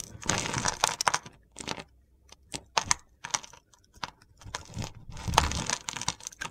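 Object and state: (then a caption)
Bar of soap being scraped. A solid mint soap bar with a blue glitter base, held in the hand, is scraped with a box-cutter blade. Irregular bursts of dry, crunchy, gritty scraping come in short strokes and longer drags, bright and crackly, with brief quiet gaps between them.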